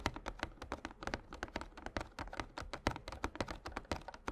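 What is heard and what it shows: Fingertips and short nails of both hands tap rapidly on a small printed glossy cardboard Yu-Gi-Oh structure deck box, hollow and filled with cards, standing upright on a playmat. About 26 quick, dry taps are heard over four seconds, each a soft hollow thunk with a light clicky edge that dies away almost instantly, like fast keyboard typing.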